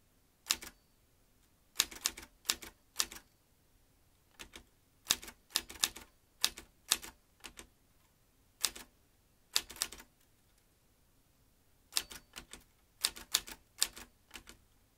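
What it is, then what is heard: Metal manual typewriter being typed on. Fingertips type on the round keys of a vintage metal manual typewriter with a typebar basket, a ribbon spool and paper loaded. Sharp, bright metallic clacks come in quick bursts separated by short pauses. Each strike dies away almost instantly, with very little low end.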